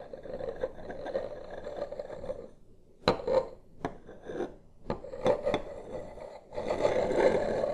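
Two smooth wooden sticks, held one in each hand, trace and tap across a flat, solid wooden desk surface with a light wood-grain finish, close to the microphone. A steady rasping scrape with a hum-like tone near 500 Hz runs through the clip, broken in the middle by a few sharp, bright taps. It ends with a louder, denser scraping stretch.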